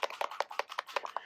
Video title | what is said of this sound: I Thought I Was Ruining My Paper… Then This Happened | a little metal ball inside these, so if you shake them, you can hear, and that's mixing it up